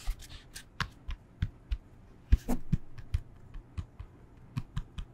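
A yoga block is tapped with the fingers, giving a series of soft, dull, low thuds with very short decay and faint bright clicks on top. Around the middle, a brief rougher, sustained rustle sits between the taps.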